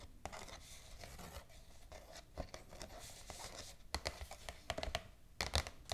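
Long acrylic nails tap and scratch the surface of a white glossy paper shopping bag with black ribbon handles, lying flat and empty on a table. A soft, papery scratching runs throughout, broken by short, sharp, bright taps that come in quick clusters in the second half.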